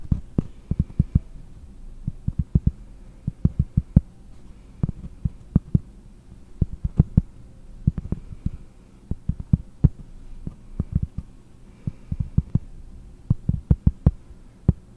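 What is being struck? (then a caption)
Cork board disc. A round, flat, solid cork disc held in one hand is tapped and scratched with long nails. Quick, dull, low thumps come in irregular bursts over a soft, low rumbling scratch, each tap dying away almost instantly with no ring.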